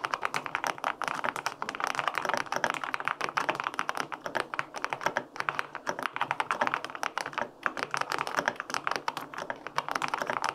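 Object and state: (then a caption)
Aluminum mechanical keyboard being typed on. Fingertips type steadily on the plastic keycaps of a white-pink full-aluminum 65% mechanical keyboard with linear switches. The result is a fast, continuous stream of crisp, clacky midrange taps that cut off quickly, with almost no low-end thump.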